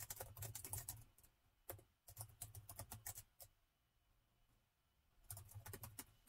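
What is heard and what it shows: Fingertips type on the plastic keys of a laptop with a gold metal body, producing quick, continuous taps with soft low thumps and bright clicky tops. The typing comes in bursts, stops for a quiet stretch of about two seconds near the middle, then resumes for the last second.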